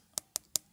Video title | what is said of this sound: (Sold) Pas banget ❤️ Review Samsung Galaxy S22 5G 256gb SEIN di Bang Hape siap COD Tokopedia Shopee | it sounds solid for the backdoor